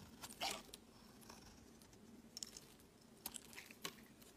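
A utility knife blade shaves long curls off a solid, palm-sized white bar of soap held in the hand. The result is quiet, bright, crisp scraping and crunching in short bursts, with brief pauses of soft hiss between the cuts.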